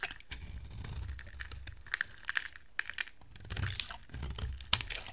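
A hand-sized, solid white soap bar with a gold edge is scraped and carved with a utility knife blade into dry flakes. Sharp, dry crackling scrapes and crisp snapping clicks come in uneven bursts over a soft low rumble, with bright, brittle high tones in the quick cuts.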